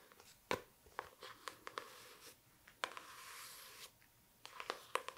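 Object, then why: Hardcover book with board cover. Long dark nails tap and scratch the floral printed cover and spine of a hardcover book, "World of Wonders," held up in the hand. Quiet, sharp clicking taps are scattered through the clip, with stretches of soft, hissy scraping between them, in a small, close-sounding space.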